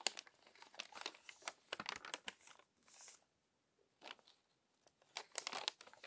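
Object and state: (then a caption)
Glossy paper magazine pages. A hand turns and smooths the previously crumpled pages of an open glossy paper magazine with its fingertips. Dense, bright crinkling and crackling comes in bursts, with a softer rustling swell near the middle and brief quiet gaps between bursts.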